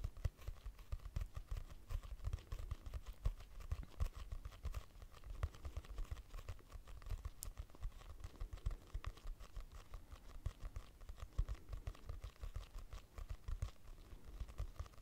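Long nails tap quickly on the cover of a purple hardcover notebook with a price sticker and a solid paper block inside. The result is a steady, quiet stream of short, dry, low thuds with almost no ring, continuing without pause for about 15 seconds.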